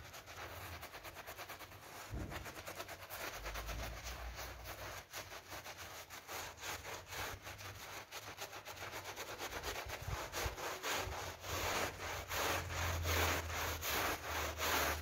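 A gloved hand scrubs a foamy pink PVC coil door mat with a brush. The result is a steady, rapid run of bright, wet scratching strokes that grow louder toward the end, with a low rumble underneath.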